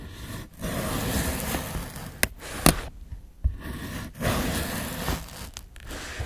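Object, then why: Cucumber cut with a steel knife on a plastic board. A solid green fresh cucumber, held by the fingertips, is sliced with a steel kitchen knife on a white plastic board. Soft, crunchy scraping textures rise and fall through the clip, broken by three sharp, bright clicks as the blade strikes the board.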